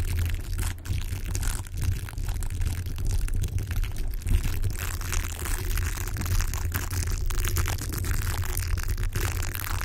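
A yellow, hollow plastic velcro hair roller with a bristly surface, held against a microphone, is rubbed and scratched with fingertips and nails. The result is a steady, dense scratching and rustling texture with a heavy low rumble underneath and fine crackly detail across the highs, holding at an even level throughout.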